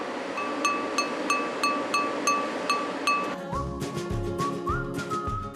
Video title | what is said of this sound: 한국이 진짜 잘만드는데 원료는 짐바브웨에서 수입해야 만들 수 있는 국산 뚝배기 그릇 공장｜극한직업｜#골라듄다큐 | 이렇게 때려 봤을 때 맑은 소리가 나는